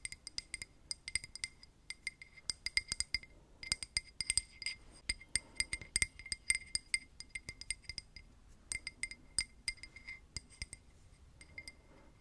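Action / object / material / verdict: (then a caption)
tap / glass tumbler tapped with metal paper clips / glass / none. A drinking glass is tapped with paper clips worn as nails for ASMR, producing rapid, bright, clinking taps that ring only briefly. The taps come in quick irregular bursts with short pauses, and the sound is almost entirely high-pitched with little low end.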